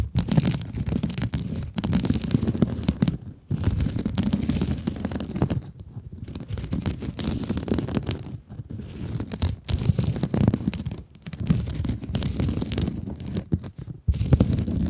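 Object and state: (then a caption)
Mesh scrub sponge scratched with nails. Long acrylic nails scratch the woven mesh face of a soft, hand-sized blue mesh scrub sponge. The result is a dense, low, rumbling rasp of rapid scratches, heard in steady bursts separated by brief pauses.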